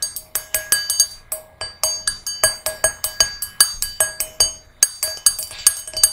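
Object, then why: Small brass singing bowl. Long nails tap the rim and inside of a small, hollow, empty brass singing bowl resting on a red cushion. About 28 quick, bright metallic clinks come in an irregular rhythm, each carrying a ringing tone near 630 Hz and 1.6 kHz with high, glassy overtones that hum briefly before the next tap.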